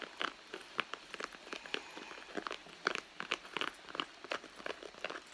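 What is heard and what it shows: Long nails scratch and pinch the soft leather along the seam of a hollow red leather handbag. The result is a rapid, irregular series of short, dry crackling clicks and scrapes, bright and crisp with no low end, each dying away almost instantly.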